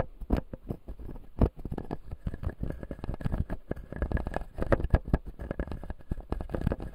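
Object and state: Plastic dental teeth model.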